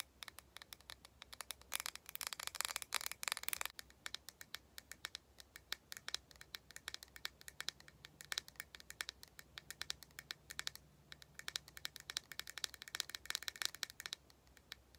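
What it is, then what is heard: Plastic cosmetic jar. A small round lilac plastic cosmetic face mask jar with a lid, held in both hands, is tapped and lightly scratched with long painted nails. Quick, bright, dry clicks and soft scratches run throughout, growing into denser, busier bursts in places over a faint low hum.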